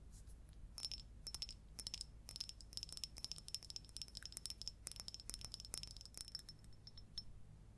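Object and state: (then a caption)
Ceramic bowl tapped with fingernails. Long coral acrylic nails tap and scratch all around the outside and rim of a small, round, hollow, empty orange glazed ceramic bowl or pot with a white inside. The result is a quiet, rapid run of bright, clicky taps with a thin, high ringing tone that dies away almost instantly, mixed with light scratchy brushing over a low, steady hum.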